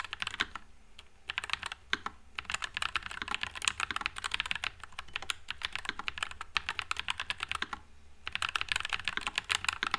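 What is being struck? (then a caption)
Low-profile mechanical keyboard with plastic keycaps. One hand types with its fingertips on a white low-profile NuPhy Air96 mechanical keyboard with Wisteria switches and plastic keycaps. The result is a steady stream of bright, short, crisp key clacks that die away almost instantly. The typing briefly pauses near the start and again near the end before resuming.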